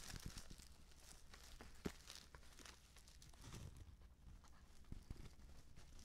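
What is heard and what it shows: Fingers handle, squeeze and tilt a filled white-and-purple stand-up paper tea pouch, producing soft, irregular crinkling and crackling. One sharper crackle stands out near the two-second mark over a quiet, low background rumble.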